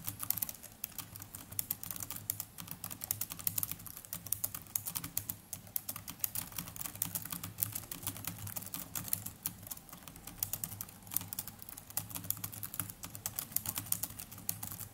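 Both hands tap rapidly with their fingertips on the plastic chiclet keys of a small black netbook with a plastic body. The result is a dense, continuous stream of short, bright clicks over a faint, steady low hum.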